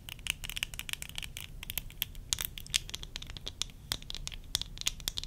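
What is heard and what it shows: Long nails scratch and tap the frame of worn tortoiseshell plastic eyeglasses. A rapid, irregular run of sharp, bright clicks and scratchy taps, centered around 3 kHz with high sparkle, rises over a low rumble. Each click dies away almost instantly.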